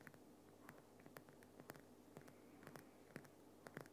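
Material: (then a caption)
Rock salt. Fingernails scratch and tap the top and sides of a large, solid, lit Himalayan rock salt lamp. Quiet, soft scraping runs under a steady low hum, broken by a scattered series of short, bright taps that fade almost at once.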